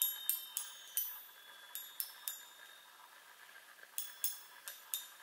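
Long nails tap the hollow metal tubes of a small handheld chime set on a wooden frame, making ten bright, high, sparkling strikes at an irregular pace. Each strike rings briefly over a faint steady hum.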